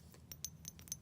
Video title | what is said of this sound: ASMR Game Show: "Let's Make A Deal" Inspired/Play-Along | it makes some beautiful sounds. Oh, the sounds it makes when I tap it.